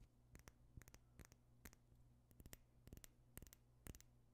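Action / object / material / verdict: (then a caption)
tap / small glass perfume bottle tapped with fingernails / glass / none. A small clear glass perfume bottle with a pink tint is held near the microphone and tapped and scratched with fingernails. Quiet, sharp clicks come in small uneven clusters, about fourteen in all, each very short and bright over a steady low hum.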